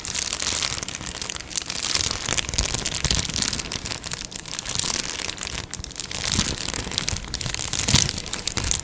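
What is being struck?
Plastic padded mailer envelope.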